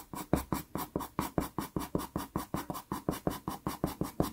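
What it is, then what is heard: Pastel pencil hatching on pastel paper. A natural-wood pastel pencil shades and hatches across a small taped sienna Pastelmat card. About 22 quick, evenly spaced strokes make a steady, soft, dry scratching rhythm, with a dull low body and little bright hiss.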